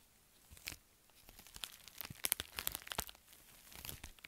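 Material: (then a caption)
Metallic foil. Long nails tap and scratch an empty, flat pink metallic foil bubble mailer while hands squeeze and crinkle it. Quiet, bright crinkling and crunchy rustles are dotted with sharp, dry clicks that die away instantly. The clicks cluster in a dense burst near the middle of the clip.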